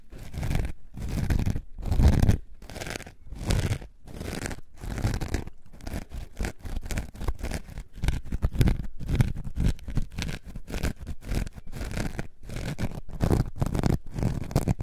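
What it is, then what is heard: Foam sponge being scratched. A coarse orange foam sponge is held up and scratched with long nails. The result is a deep, muffled, low-heavy rasping in bursts: longer strokes with short silent gaps at first, then quicker, choppier scratches through the rest of the clip.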